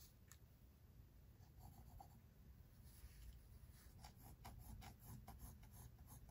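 The graphite tip of a pink mechanical pencil is drawn across thick white drawing paper in a large spiral-bound sketchbook lying flat on a wooden table. It makes short, quiet scratching sketch strokes. The soft, bright scratches grow denser in the second half over a steady low background hum.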